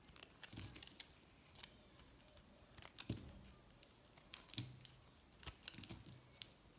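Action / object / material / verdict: scrape / solid soap bar scraped with a metal blade / soap / none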